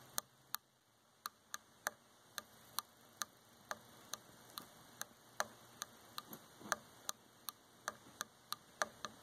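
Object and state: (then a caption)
Wooden chair armrest tapped with fingernails. Long fingernails tap a dark varnished solid wooden chair arm, producing 24 sharp, dry clicks spaced irregularly across the clip. Each tap is bright and very short, with almost no ring, and they stand out clearly against a faint background hiss.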